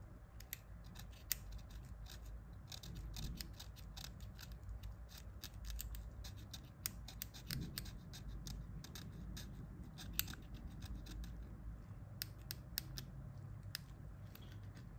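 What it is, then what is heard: Plastic phone keypad being picked clean. A thin pointed pick, held in gloved hands, scratches dirt out of the gaps between the rubber/plastic keys of an old, dirty Nokia 1110 phone with a hollow plastic body. Quiet, rapid ticking scrapes and sharp, bright clicks sound over a steady low rumble, each one dying away almost instantly.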